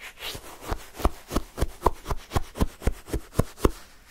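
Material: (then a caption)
Ice. A wooden stick repeatedly stabs down into pale yellow shaved-ice sherbet in a paper cup and scrapes up the crushed ice. Each stroke gives a short, crunchy scrape with a low thud, repeating in a quick, slightly uneven rhythm.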